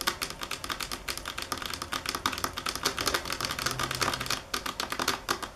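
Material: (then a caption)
Stone. Long acrylic nails tap rapidly on a large, solid, polished granite-marble stone countertop. The result is a dense run of sharp, bright clicks with very little ring, pausing briefly just before the end before picking back up.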